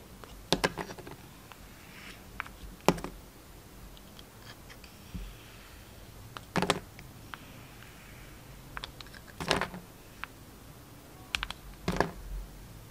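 A utility knife blade cuts and scrapes into a solid red Duru soap bar with a black and white striped core, held in the hand, peeling off the red layer. Several sharp, bright scraping snaps stand out at intervals, with smaller crisp slicing ticks between them over a quiet background.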